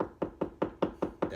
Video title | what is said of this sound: How to install a Dog door | I did knock on the wall that's not a stud